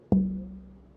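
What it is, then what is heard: Red spruce guitar top tap tone. A red spruce guitar top with a salted maple rosette, marked with drawn circles, is tapped once at its center. The tap gives a short knock followed by a low tap tone ringing near 190 Hz that fades over about half a second.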